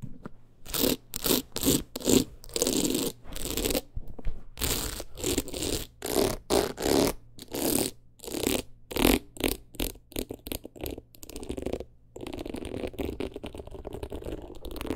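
Long nails tap and scratch a teal beaded rhinestone clutch wallet with a metal frame edge, held in the hand. Quick bursts of gritty, rattling scratches come in a rapid stop-start rhythm. Near the end they run together into a denser, steadier rasp.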